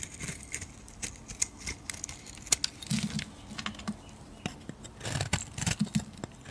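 A metal blade scrapes and shaves the surface of a solid pink bar of soap. Quick, crisp strokes produce bright, crackly scraping and clicking, with soft low thuds under some cuts and brief quiet gaps between them.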